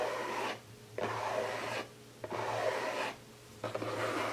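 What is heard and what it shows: Fingertips and nails scratch the lid of a closed, hollow printed cardboard gift box, then hands grip its sides. Four dry, raspy scratching bursts sit mostly in the midrange with little low end, each separated by a short quiet gap.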